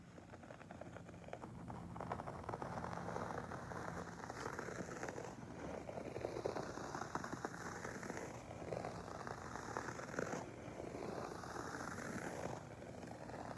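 Fingertips and nails repeatedly scratch and rake the pile of a soft beige fabric carpet lying on the floor. The result is a dense, continuous crackling rustle that swells and eases in waves, with a faint steady low hum underneath.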